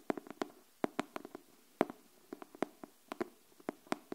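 Long nails tap the cover of a pink cardboard hardcover paper notebook held upright, making 21 quick, dry, hollow taps in an uneven rhythm over about four seconds. Each tap is short with almost no ring and centers around 380 Hz, with faint bright clicks on top.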